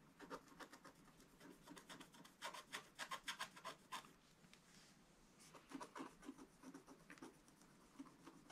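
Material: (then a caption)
Wax, paper. The tip of a wooden stick scratches short strokes into the black wax coating of a scratch-art paper page in a spiral book. The result is a quick, uneven run of dry, raspy scrapes with bright edges. A brief lull comes midway before the strokes pick up again.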